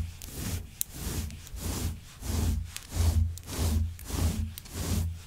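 Long white nails scratch and comb through the long fibers of a grey shaggy synthetic faux fur rug. It makes a steady, repeating series of soft rubbing strokes, each swelling and fading with a deep low rumble under a faint bright hiss, with a brief sharp click partway through.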